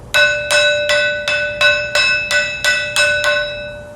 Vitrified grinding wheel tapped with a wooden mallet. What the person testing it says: It sounds very clear That's right, so this means there's nothing wrong with this product